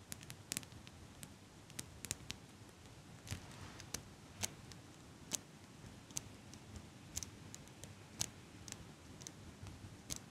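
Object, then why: Metal eyelash curler. A small gold-toned metal eyelash curler is held in both hands while long pink nails click against and squeeze its hinged metal frame. The result is a quiet, irregular series of sharp, bright ticks and clicks that stop instantly with no ring, over a soft low rustling background.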